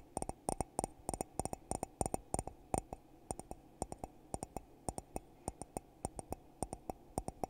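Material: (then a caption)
Glass. Fingertips tap inside and on the rim of a hollow, empty red glittery glass coffee mug held in one hand. It gives a quick, uneven series of short, dry clicks, often in pairs, each with a brief glassy ring near 760 Hz and a bright, sparkling edge.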